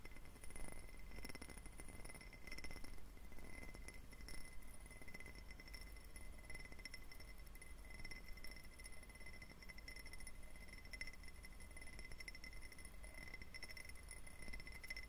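A clear, hollow, empty diamond-faceted glass tumbler is tapped quickly with fingertips and short nails. The result is a quiet, steady stream of light clicks and tiny glassy chinks that die away almost at once, with faint bright ringing tones. A low, constant hum sits underneath throughout.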